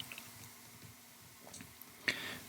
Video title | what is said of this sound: ASMR Soft Spoken: Crystal Tree, Singing Bowl, & Nostalgic Decor Show and Tell - Tapping & Whispers | has some tapping sounds. They're about the same as the marble.